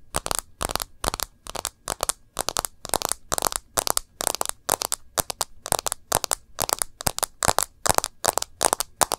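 Long nails tap and scratch along the edge of a rose-gold edged plastic case and the screen of a smartphone held sideways. A rapid string of short, dry, crackling clicks follows, each bright with almost no ring and little low end.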